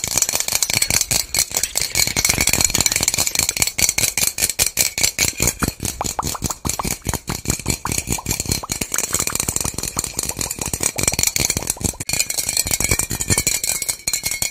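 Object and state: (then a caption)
Plastic bottle with loose contents. A small white labeled plastic bottle with loose contents inside is shaken by hand, producing a continuous, rapid rattling. The clicks are short and bright, with little low-end weight, and the rattle holds fairly steady for the whole clip.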